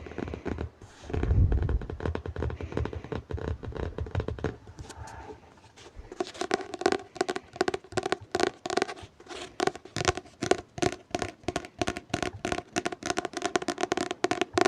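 Fingertips tap on a hardcover book, giving a dense run of quick, dry taps. The first seconds carry a low rumble and handling scratches, then rapid tapping dominates with a hollow mid tone.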